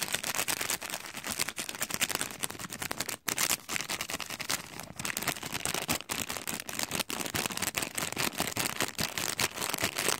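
A long decorated acrylic nail scratches and crinkles the clear cellophane film wrapped over a heart-print gift. The result is a dense, continuous run of bright, crisp crackles and rustles, with a brief near-silent gap about a third of the way through.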